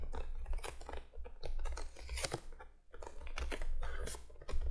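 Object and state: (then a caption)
Cardboard box tapped with fingernails. Long fingernails on both hands tap rapidly across the top of a printed cardboard box lying flat. The result is a dense stream of quick, crisp, papery clicks with bright edges, rising and falling in bursts over a steady low hum.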